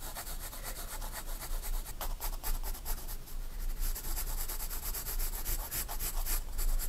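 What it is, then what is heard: Pencil shading on a sketchbook page. A graphite pencil shades near a drawing on a spiral-bound paper sketchbook page, making a steady, soft scratching rub with brief brighter strokes throughout. A low, constant hum sits underneath the quiet, papery texture.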